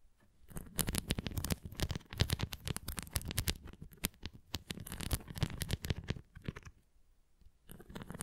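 Long nails scratch and tap across the bumps and rim of a tilted red plastic flying disc toy. Rapid, dense clusters of short dull taps mix with bright scratchy clicks, each dying away almost at once. The tapping quiets briefly near the end, then resumes.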